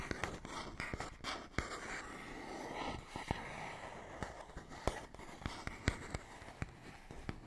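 A fingernail scratches across a small, hollow printed paperboard box, making a soft, dry rasp with a brighter scratchy band. Sharp, short clicks and taps from the nail on the box break through the scratching at irregular intervals. The sound stays quiet and close throughout.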